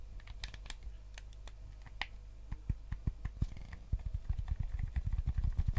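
Fingertips tap the hollow plastic shell of a white GameCube controller and click its buttons, making quick, irregular dry taps and clicks with almost no ring. The taps grow denser and louder toward the end over a steady low hum.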